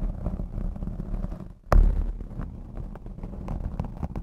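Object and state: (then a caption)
Foam microphone windscreen being scratched. Long blue acrylic nails scratch and rub the black foam windscreen on a Blue Yeti X microphone, producing a deep, muffled rumbling texture with steady soft scratching. Near the middle there is a brief lull, then a sharp, heavy thump before the low rubbing continues.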